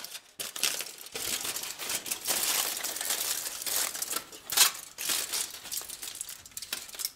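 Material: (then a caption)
Aluminum foil. A thin, large crumpled sheet of aluminum kitchen foil is held in black-gloved hands and crumpled and crinkled between the fingers. It makes a steady, bright crackling with almost no low end, swelling and easing in busy bursts. A sharper, louder crinkle stands out just past the middle.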